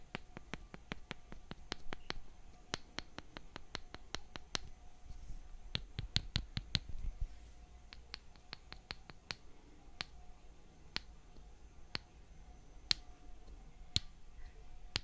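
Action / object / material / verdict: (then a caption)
tap / small wooden mallet and thin wooden stick / wood / none. A toy-sized, light wooden mallet with a solid head taps a thin wooden stick held by the fingertips of the other hand, making a long series of light, sharp, bright clicks that stop dead with no ring. The taps come quickly and evenly for the first few seconds, cluster again around the middle, then space out into slower, occasional taps over a quiet low rumble and a faint steady hum.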